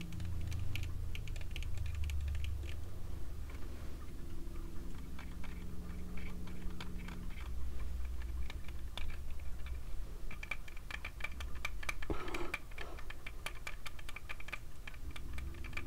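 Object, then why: Metal-frame sunglasses with mirrored lenses. Fingertips tap the small, hollow frame and pink mirrored lenses of round, thin gold metal-frame sunglasses worn on the face. A rapid, uneven run of light, dry ticks with almost no ring sits over a steady low hum, giving a soft, keyboard-like patter throughout.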